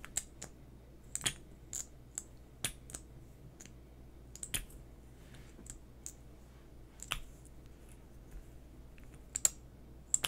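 A small, hollow, white-labelled pink plastic lip gloss tube, held in both hands, is tapped and scratched with fingernails. About 18 sharp, bright clicks and taps with almost no ring stand out against a quiet low background hum, with faint scratching between them.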